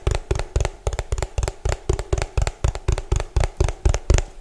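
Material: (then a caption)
Plastic. Fingernails tap fast and hard on the bottom and side of a hollow orange plastic food container, giving nineteen quick, dry, hollow knocks at about four per second in an uneven rhythm. Each tap is mostly a deep thud with a faint bright click, and it dies away almost instantly.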